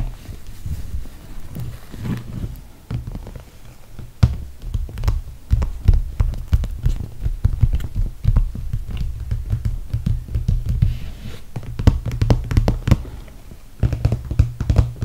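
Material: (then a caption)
PVC plastic. Fingertips and long red nails tap the top panel near the zipper of a clear PVC toiletry bag with holographic handles, full of cosmetics and resting on a fluffy mat. The result is a dense run of soft, dull, low thumping taps with a few sharper clicks over a steady low hum.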